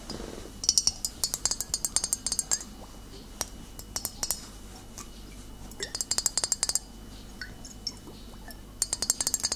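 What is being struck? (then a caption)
Glass bottle of vinegar. Long nails tap the thick glass base and body of a full glass bottle of cider vinegar held tilted in the hand. Bursts of quick, bright clinks with very short ring come in clusters, separated by pauses over a quiet, steady background.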